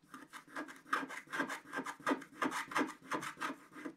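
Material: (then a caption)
Coated paper. A wooden stick scrapes the red area of a stocking on a flat, black-coated scratch-art sheet in repeated back-and-forth strokes. Each stroke gives a dry, raspy scratch with a mid-pitched rubbing tone and a bright, hissy edge, almost three strokes per second, in a slightly uneven rhythm.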